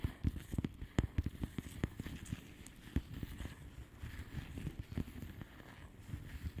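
Long manicured nails of both hands tap rapidly and irregularly on a flat plastic bubble wrap mailer with hollow air bubbles. The result is a quiet stream of soft, dull, low taps with short clicky edges that die away almost instantly.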